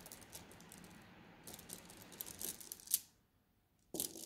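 Long nails scratch across a flat-lying plastic mesh bag of blue glass gems, making the gems rattle in a soft, bright clicking and scratching texture that builds to a sharp peak near three seconds. The sound then drops to near silence for almost a second before the bright rattling abruptly resumes.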